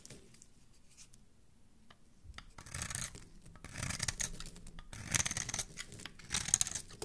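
A metal blade scrapes and carves a hand-sized solid bar of soap, gray outside and red inside, held in the hand, while a second soap bar nearby stays untouched. After a quiet start, irregular bursts of bright, crisp scraping and shaving rise and fall. The cuts pile up red shavings.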